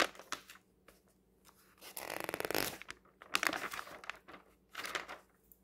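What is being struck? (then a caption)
Paper magazine pages. Fingertips turn and brush the pages of a thin printed paper magazine lying open on a table. Short, soft paper rustles are broken up by louder flapping bursts, including a longer fluttering riffle as a page is flipped. The sound is bright and crisp with almost no low end.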